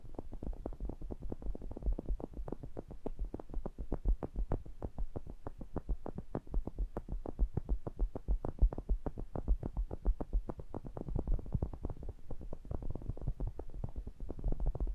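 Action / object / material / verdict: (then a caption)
tap / metal mesh grille of a small condenser microphone / metal mesh / none. Fingertips tap and rub the mesh grilles of a pair of small cylindrical metal pencil condenser microphones. The result is a fast, steady stream of short, dull thumps, almost entirely low and boomy with no bright content. Each tap dies away almost instantly.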